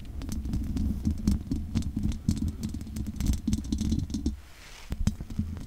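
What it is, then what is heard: Metal mesh microphone grille. Long nails scratch along the sides of the hollow metal mesh grille of a large condenser microphone. The result is a dense, boomy, low-heavy rasping with many quick, sharp ticks and faint bright crackle. It briefly softens near the end before a few more scrapes.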